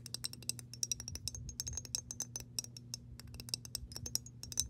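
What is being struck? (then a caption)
Glass jar partly filled with water. Long nails of both hands tap rapidly on the glass base of a mason jar partly filled with water. The result is a quick, uneven stream of short, bright clicks with high, glassy pings that die away almost at once, over a faint, steady low hum.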